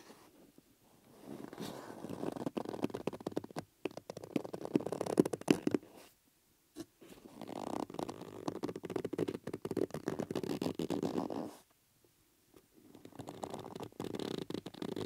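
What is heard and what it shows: Fingertips and a thumb press, stretch and rub the inner surface of a hollow, plate-sized yellow rubber bellows stretched between two grey metal rings, tilted on a red cloth. The result is dense, irregular squeaking and rumbling friction centred in the low mids around 340 Hz, coming in three long bursts separated by short silences.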